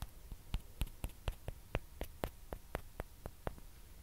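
Long dark-painted nails tap and scratch a small hollow white plastic ping pong ball held in the fingers, with a second identical ball held in the other hand. About 14 short, dry, clicky taps come in a loose, uneven rhythm, each dying away almost instantly. A low, steady hum sits underneath throughout.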